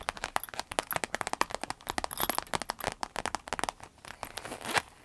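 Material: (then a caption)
Vinyl. Long red acrylic nails tap and scratch the clear vinyl surface and zipper edge of a small clear vinyl zip pouch with black trim, a gold zipper and a key charm, full of cosmetics. Dense, rapid crinkly taps and scrapes follow one another with short, dry, bright clicks and little low end, stretching into a softer rustle toward the end.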